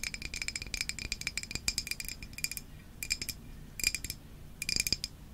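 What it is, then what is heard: Glass bottle tapped with nails. A hand-sized glass Izze sparkling water bottle, hollow and partly filled with orange liquid, is held in both hands and tapped with long nails. Quick, bright clicking taps come in bursts separated by brief pauses, each with a short, high glassy ping that dies away almost at once.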